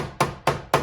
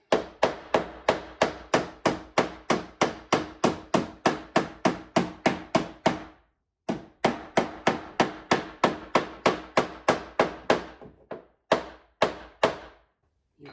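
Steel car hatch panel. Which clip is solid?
The second.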